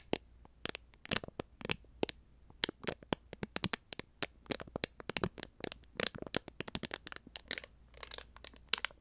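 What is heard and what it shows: A small, full, heart-shaped plastic konjac jelly cup with a film lid is held close to the microphone and crinkled, squeezed and picked at with fingers and nails. This produces a rapid, irregular stream of sharp, bright plastic crackles and clicks, with a brief rustling crinkle near the end. A faint low hum sits steadily underneath.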